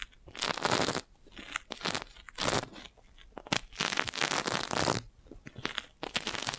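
A clear, crinkled, thin, hollow plastic magic balloon bubble about the size of a fist is held beside the mic and tapped and scratched with long nails. It gives bursts of bright, dry crinkling and crunching scratches, with short taps in between and no ring afterward.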